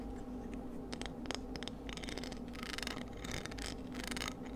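Long nails scratch and tap across the strong radial ribs of a palm-sized, hollow, empty white cockle shell held in the hands. Dry, brittle scraping and clicking bursts flicker continuously over a low, steady hum, with brighter rasps toward the end.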